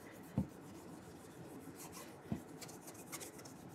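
The toe of a burgundy leather cap-toe dress shoe, held in one hand with a wooden shoe tree inside, is rubbed with an orange polishing cloth wrapped around the fingers. A quiet, steady, airy rubbing hiss runs throughout, with faint brighter swishes. Brief, dull, low bumps break through now and then.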